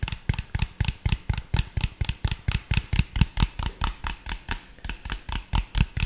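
Fingertips and nails tap and scratch an empty, hollow, clear PET drink bottle with an orange label. About 26 quick, uneven taps sound out, each a dull hollow thump with a bright plastic click and almost no ring.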